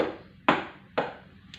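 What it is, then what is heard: Small whiteboard, knocked. A small whiteboard is knocked at one end while an ear is pressed to the other end, showing that sound travels through the solid board. Three short, dry knocks are heard, two strong and a fainter third, each with a quick mid-pitched decay.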